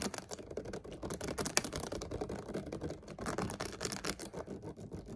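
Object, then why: Partly full ridged plastic water bottle. A clear, ridged plastic water bottle, partly full and held sideways, is tapped and scratched with fingertips and nails. The result is a quick, dense run of soft, dry clicks and scratchy crackles with a bright edge and almost no ring.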